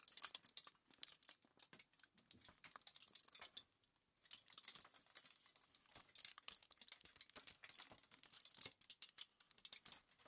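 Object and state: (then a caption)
Crumpled aluminium foil. A crumpled sheet of thin aluminium foil is held and lifted by hands while fingers crinkle and tap it. Quiet, dense, bright crackling runs almost continuously, with almost no low end and a brief lull around four seconds in. The crinkles are short, sharp and dry, with no ring after each one.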